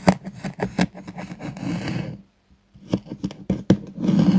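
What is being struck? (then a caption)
Kinetic sand slab cut with a metal knife. A metal knife slices diagonally through a solid, flat purple kinetic sand sheet with a pressed pattern, resting on a wooden board, in repeated cutting strokes. Short, sharp crunching scrapes and soft grainy rasps come in quick bursts, with a brief near-silent pause midway before the cutting resumes.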